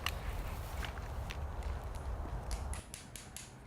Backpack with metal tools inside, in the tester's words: Banging metal together. That's not a natural sound.